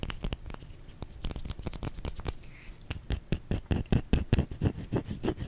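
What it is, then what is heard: Bar of soap scratched and tapped. A small, solid white bar of soap is turned in the hands while long nails scratch and tap its flat and curved sides. The result is an irregular run of short, dry taps and scratchy strokes with a dull, low-weighted body and almost no ring. The taps grow louder and sharper toward the end.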